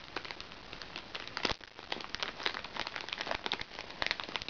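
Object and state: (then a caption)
Crinkly plastic-film makeup bag. A small, flat, hollow makeup bag made from recycled plastic sachets, with crinkly plastic-film sides, lies on a lap and is tapped and scratched with the tips of long red-painted fingernails. The result is a steady stream of quick, bright crinkles, crackles and sharp clicks that overlap densely, with almost no low end and occasional louder snaps.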